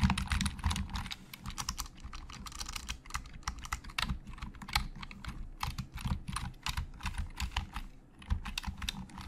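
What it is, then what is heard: Hollow-sounding plastic computer keyboard. Fingertips type on a hollow black plastic Logitech keyboard, producing a steady stream of quick, dry key clicks with bright clacks over a low, hollow thump. The pace shifts between dense bursts and slightly more spaced taps, and each keystroke dies away almost instantly.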